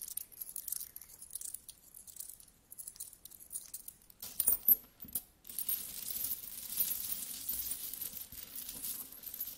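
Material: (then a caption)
Metal. Fingers with long nails rummage and scratch through a large pile of solid metal coins, making bright, quiet clinks and scrapes. A few louder clattering bursts come after about four seconds, then give way to a steady, dense jingling of coins shifting against each other.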